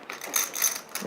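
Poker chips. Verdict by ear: Hollow.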